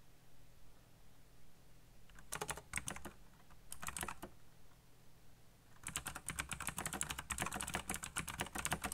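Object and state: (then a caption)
Plastic mechanical keyboard. Fingertips tap the keys of a backlit black plastic mechanical keyboard. Short bursts of crisp, clicky keystrokes come at about 2.3–3 s and 3.7–4.2 s, followed by a faster, continuous run of typing from about 5.8 s to the end. Each keystroke gives a bright, short-lived click over a low hum.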